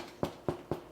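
Three hollow knocks on the crisp crust of a cooled, fully baked rustic bread loaf, each a short, dull thud with a brief low-mid resonance that dies away quickly. The loaf sounds crusty and well baked, and inside it has a soft, airy crumb.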